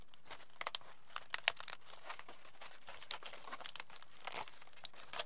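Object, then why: Aluminium foil sheet. A crumpled aluminium foil sheet, held in both hands, is pulled open and crinkled with the fingers. Quick, dry, bright crackles and rustles come in irregular bursts over a quiet background, each snap dying away almost at once.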